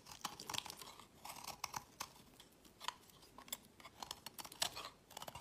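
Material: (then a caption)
Soap. A solid translucent orange bar of soap, held in the fingers, is shaved into pale curls with a utility knife blade while a second bar lies nearby. Quick, dry, crisp scraping and crunching strokes come in uneven bursts, bright and high with very little low end. Each stroke stops short with no ring.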